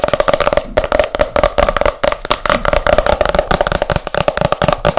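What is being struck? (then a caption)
Hardcover book with glossy cover. Long nails tap fast and hard on the glossy printed cover of a solid hardcover book, making a rapid, continuous stream of short, dry clicks. Each tap dies away almost at once, and a steady hollow tone around 600 Hz runs under the ticking.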